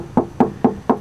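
Four sharp taps on the original metal body panel of a 1995 Subaru Legacy, just above a rust-hole repair, made as a solid reference before tapping the patch further down. Each tap gives a short, dull knock with a mid-pitched tone that dies away almost at once. The metal sounds solid and normal.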